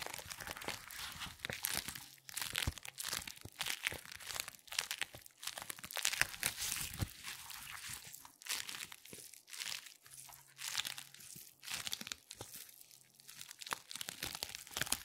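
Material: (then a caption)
Latex. A purple latex resistance band is gathered, stretched, twisted and squeezed by black-gloved hands. It gives a steady stream of bright, crinkly, crunching rubs and squeaks in uneven bursts, with very little low end.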